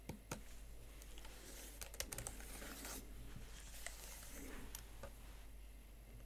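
Fingertips with long nails type on the plastic keys of a Huawei MateBook X Pro laptop keyboard set in a metal body. The result is quiet, sharp, bright clicks and taps in an irregular rhythm over a steady low hum.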